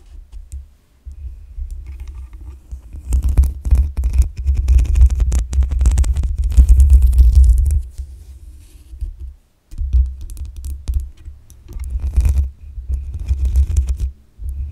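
Long acrylic nails scratch the black metal mesh grille and sides of a hollow-headed desktop condenser microphone. The result is a dense, deep rumbling scrape with faint bright crackle on top, coming in uneven bursts that swell loudest in the middle and briefly drop out twice near the end.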